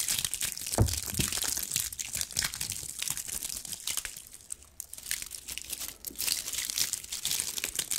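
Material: Pine cone scales.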